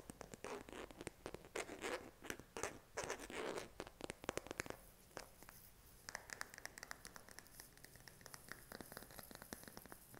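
Short fingernails tap and scratch the back of a smartphone in a pink silicone case held in the hand. Dry, rubbery scratching bursts fill the first half, then the sound settles into quieter, rapid, bright tapping clicks.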